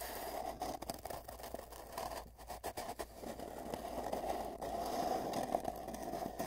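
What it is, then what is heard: Empty hollow cardboard tube. Fingertips scratch and rub both ends of a long, hollow, empty cardboard tube, heard from a microphone placed inside it. The result is a steady, dry scratching and rustling with a hollow, boxy resonance around 700 Hz, broken by brief quieter gaps.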